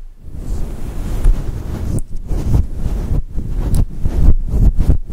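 Long nails and fingertips scratch and rub a fluffy synthetic fur microphone windscreen. The result is a dense, muffled low rumble and rustle, almost all below 200 Hz, with brief dips between scratching strokes.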